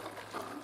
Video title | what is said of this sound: Suzuki TS50, Fuel Tank Liner, Pt #3 --- Video #303 | mek in the tank i'm just getting ready to empty it out you can hear it sloshing around